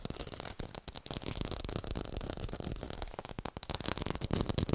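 Fast fingertip tapping on an artificial orange with a textured surface, recorded in high fidelity. The short, dry taps come in a dense, uneven stream, with a heavy low thump and a crackly, bright surface texture that fades almost instantly after each tap.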